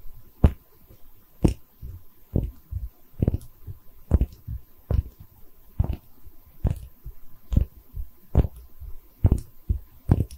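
A small, hollow, cream-colored porcelain liquor bottle with an embossed texture and Chinese characters is held in both hands and tapped and scratched with long red nails. Sharp, short taps land in a fairly steady rhythm, each followed by softer, low, dull knocks and faint scratching. The sound is mostly deep and muffled with a brief bright click at each tap.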